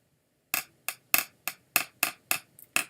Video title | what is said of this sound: Mini Sets Tuesday "1998 & 1999 Topps Stars 'N Steel" + More Maybe | they're actually made out of thin plates of steel